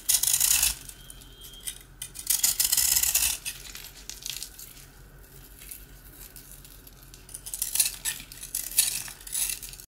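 A blue-handled metal utility knife scrapes and cuts through a slice of hard, dry rusk (twice-baked bread) held in the hand, with crumbs falling onto a surface covered in rusk pieces. Bright, gritty scraping and crunching come in bursts at the start, around the third second and again near the end. Softer crackling and crumbling fill the quieter stretches between.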